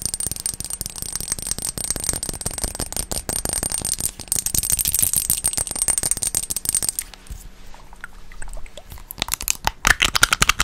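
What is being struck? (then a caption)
Plastic pump bottle. Long nails rapidly tap and scratch a teal plastic cosmetic pump bottle that is partly filled with liquid, producing a dense stream of crisp, bright clicks over a hissy scratching texture. After about seven seconds the tapping turns sparser and quieter, then picks up again with a few sharper, louder taps at the end.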